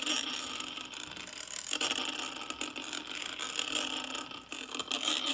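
A small wooden-handled brush rubs and scratches the hollow metal mesh grille of a karaoke microphone held steady. The result is a continuous, dense, bright scratchy rasp with fast ratchet-like clicking, almost no low end, and brief dips in loudness as the strokes change.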